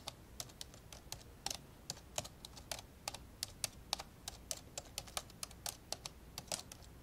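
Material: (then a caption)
Plastic. An old dark grey plastic laptop lies open while fingertips type two-handed on its plastic keys. The result is a steady, irregular stream of short, dry, bright taps with almost no ring, some louder than others, over a quiet background.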